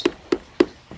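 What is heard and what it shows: Three sharp taps, followed by a fainter fourth, on the injection-molded plastic side panel of a Wosport Devtac Ronin-style helmet give short, hollow knocks centered near 300 Hz that die away almost at once. The panel sounds cheap and hollow because it leaves air gaps over the helmet shell, gaps meant to be filled with dense foam to deaden it.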